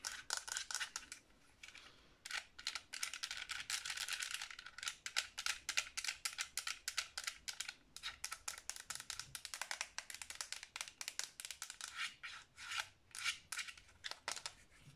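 Long nails rapidly tap and scratch the shell and buttons of a black plastic Xbox 360 controller, a hand-sized, hollow controller held in the hands. The result is a dense run of quick, bright clicks and scratchy bursts with almost no low end, broken by a few brief pauses.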